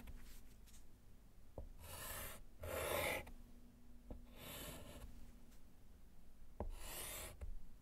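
A gloved hand writes letters in white chalk on a small handheld slate chalkboard in a wooden frame lying flat on a table. Bursts of dry, bright scratching from the chalk dragging across the slate are separated by brief quiet gaps and occasional sharp little taps, over a low steady background hum.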